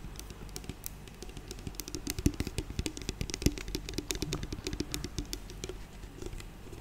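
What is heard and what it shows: A medium-sized, hollow, clear plastic bottle with a silver cap, partly full of clear liquid, is tapped and handled with long nails and fingertips close to the microphone. Dozens of quick, irregular clicks and taps sound bright and sharp over a low, soft rumble, each dying away almost instantly.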